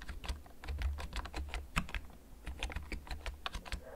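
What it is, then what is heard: Plastic mechanical keyboard being typed on. Fingertips type slowly on a black plastic backlit mechanical gaming keyboard that is held and then tilted, producing about twenty short, sharp key clicks over a low, steady rumble. Each click is bright and dry, dying away almost at once.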